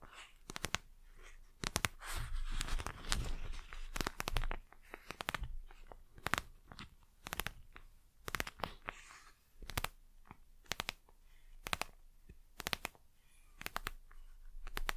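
Long nails tap and scratch the gel-filled surface of a patterned plastic gel eye mask held at an angle. Many sharp, dry clicks with bright edges die away almost instantly, broken by stretches of crunchy, rustling scratching over a low, soft background.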